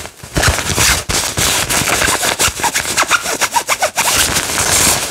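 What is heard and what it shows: The pink padded nylon fabric of a floral jacket is crinkled, grabbed and rubbed with fingertips. It makes loud, bright, crackling rustles in rapid bursts with a dense high hiss, and the choppy scrunches in the middle give way to steadier rubbing at the end.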